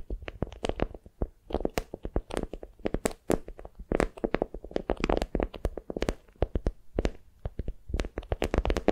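A patterned beeswax-coated cotton wrap bundled around a soft, squishy block is held in both hands and gripped and crinkled with fingertips and long nails. The result is a dense, continuous run of short, dry crackles and crinkles with a soft, low-heavy body. Each snap dies away almost instantly, with a few louder bursts along the way.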